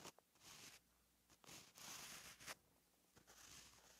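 A gel pen held in the hand writes letters on a flat, lined paper notebook page, its tip scratching across the paper. Soft, bright, hissy strokes come in bursts, with short scratches and taps between them. The result is a quiet, high-pitched writing scratch.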